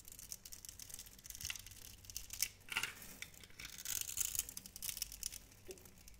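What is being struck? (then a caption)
Glycerin soap bar cut with a metal knife. A metal knife blade cuts a grid into a hand-sized, solid, translucent pink glycerin soap bar held in the hand and scrapes off small cubes. The result is a quiet run of crisp, bright scratching and carving strokes with dry crackly bursts and almost no low end.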